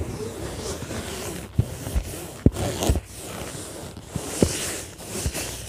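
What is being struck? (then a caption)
Padded fabric zippered case. Long nails scratch with both hands across the top of an orange padded fabric zippered case lying flat. A steady, soft, low scratching rustle runs throughout, broken by four short, sharper scuffs that stand out above it.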